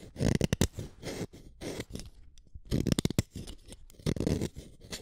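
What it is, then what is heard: Wooden colored pencil being scraped. A utility knife blade scrapes the lead of an orange wooden colored pencil, collecting pigment dust on the blade. Repeated short, dry scraping strokes come in bursts, with soft rasping and quick clicks that are mostly low and muffled, separated by brief quiet gaps.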